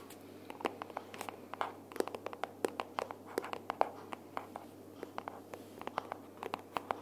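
Long purple nails tap and scratch the cover of a pink cardboard sticky-notes box with a "Sticky Notes" flap, held upright. A rapid, uneven stream of soft, dry clicks with very short decay is heard, mostly midrange, mixed with light scratching over a quiet, steady background.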